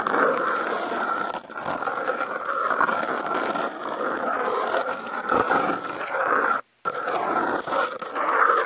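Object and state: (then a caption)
Corrugated cardboard sheet. Wooden toothpicks held in the fingertips scrape and scratch across a brown corrugated cardboard panel with contact mics clipped to its edge. The result is a steady, gritty rasping with a strong mid-range scratchy tone and some bright hiss, rising and falling in intensity. It cuts out briefly to silence near the end before resuming.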